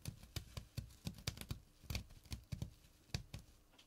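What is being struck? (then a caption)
Small burlap pouch. Fingertips and short nails scratch the woven surface of a small, flat burlap drawstring pouch. About sixteen quick, separate strokes are heard, each a soft low thump with a dry, bright rasp on top. The scratches are quiet and fade almost at once.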